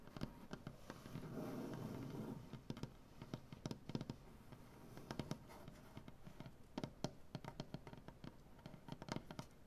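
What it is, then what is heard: Wooden butcher block tabletop. Long dark-painted nails scratch and tap on a solid light wood butcher block tabletop. A stretch of steady, rasping scratching near the start gives way to many sharp, dry taps, some in quick clusters, each dying away almost instantly. The sound is quiet and mostly low, with thuddy knocks and little bright content.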